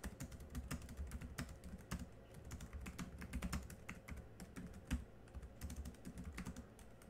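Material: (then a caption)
Plastic. Fingertips type on the black plastic keys of a small silver laptop keyboard. A rapid, uneven stream of soft, quick clicks and taps is heard over a low, dull thump, and each keystroke dies away almost at once.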